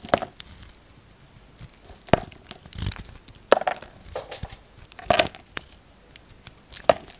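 A yellow utility knife blade carves and scrapes chunky shavings from a solid orange soap bar with a blue outer layer, held in one hand, as soap chips pile up on a wooden table. Crisp cracking snaps with a mid-pitched tonal edge stand out over soft crumbly scraping and faint crinkling. The sharp, dry cuts stop almost instantly, separated by quieter rasping.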